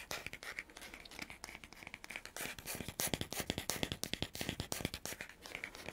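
Fingernails scratch and tap the wooden back and natural bristle face of a hand-sized oval wooden dry body brush with a fabric strap. A bright, dry, scratchy rustle mixes with quick, clicky taps that die away at once. The taps come in an uneven rhythm and grow louder and crisper in the second half.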